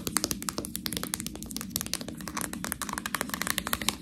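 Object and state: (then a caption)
Plastic bag of fresh tortellini. Long nails rapidly tap and scratch a full, clear plastic package of fresh tortellini held up in the air. The result is a dense run of crisp, bright crinkling clicks with a dry, quick decay over a steady low murmur.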